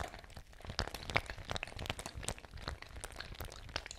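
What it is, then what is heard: Fabric ice bag with water. A fabric ice bag with water inside is swung, shaken and squeezed by hand. It makes a quiet, irregular stream of crinkly crackles and soft crunches, with short, sharp bright clicks scattered over a low rumble.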